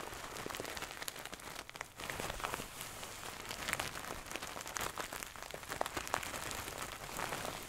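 Long nails quickly scratch a medium-soft stuffed pillow with a gold satin cover, held close to the mic. The result is a dense, steady patter of fine, bright scratching that sounds like light rain or crinkling, with brief louder flicks throughout and almost no low end.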